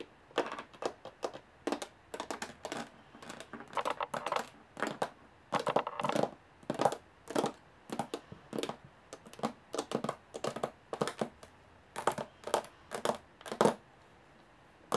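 Long fingernails tap on the textured lid of a small aluminum case with a metal handle and latches, and handle the area around the handle. Quick, dry clicks and short scratchy bursts come in irregular clusters, centered in the midrange with a little brightness. Each ends almost at once with barely any ring.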